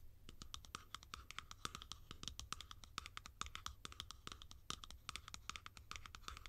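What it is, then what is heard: Plastic cap tapped and scratched with nails. Long nails scratch and tap along the sides of a hollow blue plastic cap resting open end up. The result is a fast, dense run of short, dry clicks with a hollow ring near 1.3 kHz and bright, crisp edges, over a faint steady low hum.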